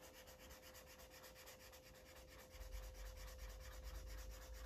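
A felt-tip Sharpie marker rubs back and forth across a thick stack of white paper pages in a coloring book, lying flat on a cloth surface while the other hand holds the pages. Quick, soft scratchy strokes repeat at roughly two per second over a faint steady tone. A low rumble grows louder about halfway through.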